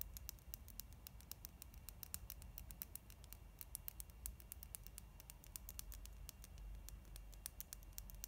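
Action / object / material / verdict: tap / plastic mascara tube / plastic / none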